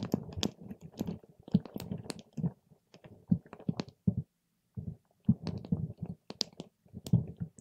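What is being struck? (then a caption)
Water gel beads in a plastic cup. A patterned paper straw is pushed and stirred among soft purple water gel beads filled in a clear plastic cup. It makes quiet, squishy poking and squelching sounds, mostly low with brief bright clicks. The sounds come in dense bursts with a short silent pause midway.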